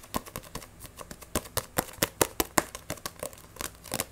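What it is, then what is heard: Paperback book. Fingernails quickly scratch, tap and grip a Black Butler paperback manga with a glossy cover. About eighteen sharp, dry clicks and scratches come in a rapid, uneven run, each bright and over almost at once, with a faint crinkle between them.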